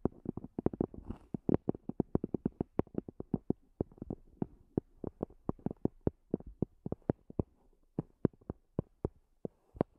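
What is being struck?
Small semi-rigid EVA earphone case with fabric cover.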